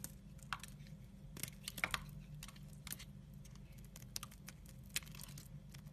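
A utility knife blade scrapes and cuts shavings from a solid brown soap bar. Quiet, dry, crisp scraping ticks and short bright snaps come in irregular bursts over a steady low hum.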